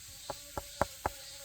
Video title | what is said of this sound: 토종벌 올해 채밀이 기대됩니다 ~장수말벌 피해방지망 설치시기~ | 두드려 보면 묵직한 소리 이런 소리가 돼야 됩니다